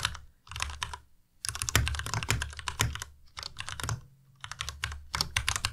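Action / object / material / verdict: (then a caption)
tap / plastic mechanical keyboard / plastic / none. A white plastic Ducky Miya Pro tenkeyless mechanical keyboard is typed on continuously with the fingertips of both hands. Rapid bursts of keystrokes with short pauses between them blend a low, thocky body with bright, sharp clacks that stop quickly.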